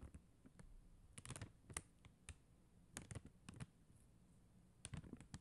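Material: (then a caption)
Plastic. Long acrylic nail tips tap quickly on a flat sheet of faceted clear and blue plastic rhinestone gem stickers on white backing. The taps are short, dry clicks with bright ticks, coming in uneven bursts over a faint low background hum. Each click dies away almost instantly.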